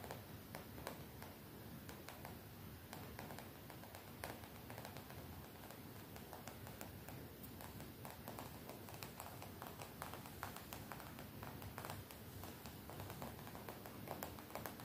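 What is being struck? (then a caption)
Printed cotton t-shirt fabric. Long nails tap and scratch the printed area of a graphic-print cotton t-shirt worn on the body. The result is a quiet, steady stream of soft, dull fabric taps mixed with light scratching over a low, muffled hiss.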